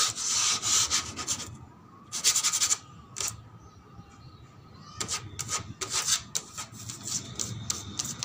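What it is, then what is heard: Plastic slide, rubbed and tapped. The plastic surface of a slide is rubbed, scratched and tapped in bursts of bright, hissy, high-pitched scraping, separated by quieter stretches. Quick light taps are mixed into the scratching, and a faint steady tone sits underneath throughout.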